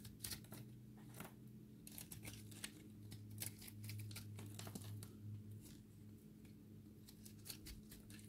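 A utility blade shaves a solid, dry recycled soap ball with a pink and green layered cross-section, crumbling it apart. Quick, irregular, crisp scraping strokes give bright crackling bursts over a steady low hum.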